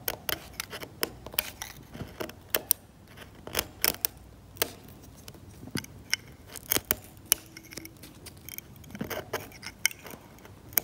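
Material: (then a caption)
Paint. A metal scalpel is dragged across the cracked varnished paint of an oil painting on canvas, scraping the paint off. Many short, sharp, bright scratches and ticks come in irregular bursts over a quiet background, each one dying away almost instantly.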